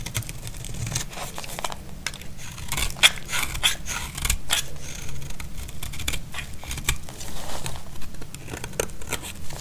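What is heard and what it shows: A utility blade shaves the edge of a solid, dry, cream-white bar of soap. The result is a steady run of crisp, dry scraping and crackling cuts, with short bright clicks and faint thin ringing flecks over a soft low rumble.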